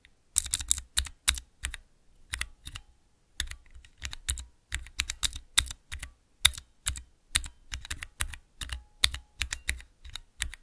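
Fingertips press the keys of a small clear plastic 3x3 Cherry MX mechanical key switch tester, producing quick runs of sharp, bright clacks, each with a soft low thump. The presses come in irregular bursts with short pauses, and every click cuts off almost instantly with no ring.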